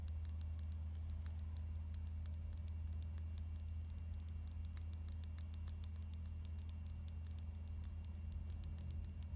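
Long nails tap and scratch along a small, slim plastic Catrice liquid concealer tube with a black cap, held in both hands. Rapid, light, bright clicks and soft scratches patter steadily throughout, over a constant low hum at a quiet level.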